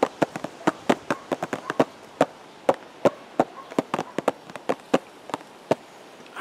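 A hollow purple and white cardboard teacake box, held at the chest, is tapped with the fingertips in an irregular run of about 25 quick taps. Each tap is a short, dry, hollow knock centered around 540 Hz that dies away almost instantly, with faint hiss between taps.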